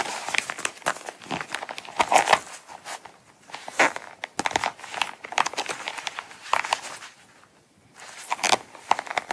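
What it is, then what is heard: Coated canvas wallet. Long acrylic nails scratch and tap the zip edge and front of a small closed brown Coach coated-canvas star-print wallet held upright. Dense, dry crinkling scratches and sharp clicking taps come in bursts with brief quiet gaps, all bright and thin with no low end.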